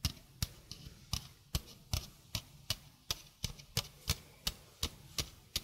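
Long painted fingernails tap a small hollow stainless steel sink strainer with a domed mesh basket and flat rim. Seventeen crisp, bright clicks with a soft low thump beneath them fall at a loosely steady pace, each dying away almost instantly.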